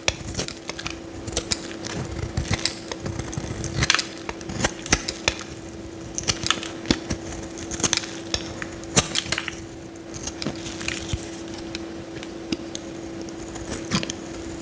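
A metal utility knife blade cuts cracking slices off a solid yellow Lifebuoy soap bar held in the hand. Rapid, bright, crisp crackles and snaps come in short bursts throughout, each dying away almost instantly. A steady low hum runs underneath the whole time.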